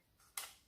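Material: Paper.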